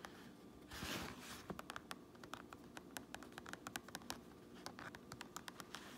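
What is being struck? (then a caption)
Fabric trucker cap with stitched brim. Long nails scratch and tap on a fabric trucker cap, first on the grey inner lining and white tape, then on the red stitched brim on the outside. A soft, hissy scratching swell near the start gives way to a quick series of crisp, bright, dry taps with almost no ring, over a low, quiet background.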